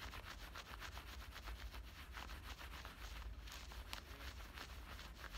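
Fingertips and nails scratch and rub at both front pockets and their stitched edges on soft black cotton denim shorts worn on the body. A quiet, steady run of rhythmic scratchy fabric strokes sits over a low rumble, with brief brighter rasps standing out now and then.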